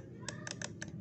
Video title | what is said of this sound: Jalur kabel box sekring Di motor beat esp | detik-detik detik-detik kayak gini berarti ini masih bagus